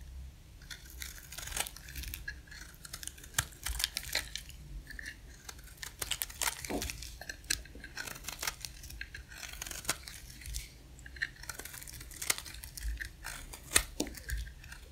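A dry, solid, palm-sized oval pink soap bar with a cream outer layer is shaved with a utility-knife blade in scraping cuts. Quick, crisp scratchy bursts with a bright, high edge repeat steadily over a low background hum, each cut dying away almost at once.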